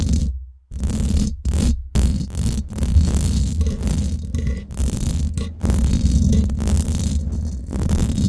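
Long acrylic nails scratch fast and slow across the hollow, domed steel mesh head of a Blue Yeti microphone. The result is a dense, booming, low rumbling scrape with little high-end, broken by a few brief silent gaps.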